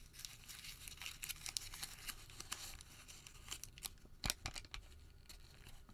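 A white thermal paper receipt is crumpled into a ball and then unfolded between both hands. It makes a dense, quiet run of bright, crisp crinkles and crackles, with a sharper, louder snap near the end.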